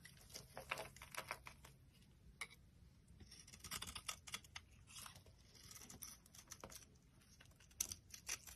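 A solid, dry orange Evyap soap bar held in the hand is shaved and carved with a metal utility knife blade. The clip is a run of quick, crisp scraping strokes, bright and dry with almost no ring. Soft crumbly shavings and flicks sit between the louder scrapes.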